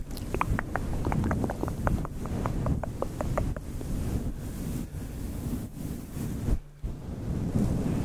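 A grey and white fluffy synthetic faux fur microphone windscreen is rubbed with both hands, producing a deep, boomy rumble of muffled rustling. Quick soft crackling ticks pepper the first half. The rumble stays dense throughout, dipping briefly near the end before returning.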